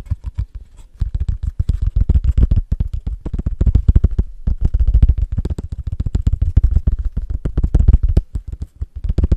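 A small, flat, solid square cork coaster, held close to the microphone, is tapped and scratched quickly with fingertips and short nails on its cork face. The result is a rapid, irregular stream of dull, low, muffled thuds with very short decay and faint scratchy texture, broken by a couple of brief pauses.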